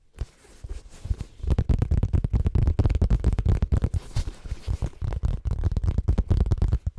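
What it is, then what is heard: Faux leather cosmetic pouch. Fingertips and nails scratch and tap the surface of a small, hollow, brown monogrammed coated-canvas/faux leather cosmetic zip pouch held in both hands in front of a microphone. Faint rustling at the start gives way after about a second and a half to dense, irregular, rapid scratches and taps. The sound is deep and thumpy, with almost all its energy in the low range.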